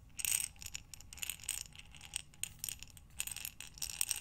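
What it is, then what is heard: Glass jar of buttons. A glass mason jar with a metal lid, full of buttons, is tilted and turned in both hands. The buttons slide and clink against the glass in a steady stream of quick, bright, high clicks and rattles. Each contact dies away almost instantly, with little low-end body.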